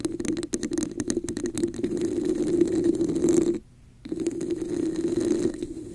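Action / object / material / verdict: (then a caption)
scrape / textured plastic cup / plastic / none. Long nails on both hands scratch the diamond texture of a hollow red textured plastic cup placed over the microphone. The result is a dense, rasping scratch with a hollow, boxy midrange resonance and bright crackly detail. It stops briefly just before the four-second mark, then resumes.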